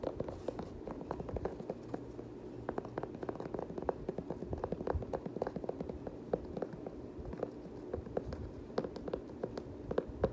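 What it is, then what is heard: Knit sneaker tapped and scratched. Fingertips tap and scratch the knit upper and rubber sole of an empty multicolor knit Nike Kobe 9 high-top sneaker. Quick, soft, dry taps fall in a dense stream over a faint, steady scratching rustle, staying quiet and muffled with almost no high-end sparkle.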